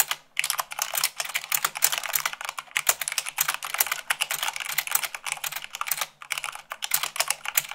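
Fingertips with long acrylic nails type fast on a full-size mechanical keyboard with white plastic keycaps on a black base. A rapid, steady stream of sharp, bright clicks and clacks follows with very short decay, pausing briefly near the start and again around six seconds.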